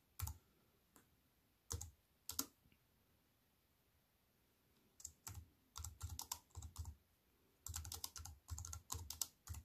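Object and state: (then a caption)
Slim aluminium and plastic keyboard being typed on. Fingertips with long white nails type on a slim, silver-framed aluminium and plastic wireless keyboard with black plastic keys, resting on a wooden table. Scattered single taps give way to quick runs of typing, each press a dry, bright click over a soft low thud that stops at once, with quiet pauses between bursts.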